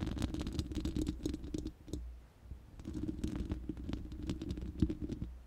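Long manicured nails of both hands scratch and tap the uncovered, hollow round steel mesh grille of a large studio microphone. Rapid, crackly clicks and scratchy patter sit over a deep, boomy rumble, with a brief quieter lull in the middle before the tapping picks back up.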